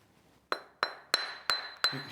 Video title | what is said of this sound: Escape to the Country Season 14 Episode 43: Sussex (2013) - FULL EPISODE | You can hear it's ringing quite well.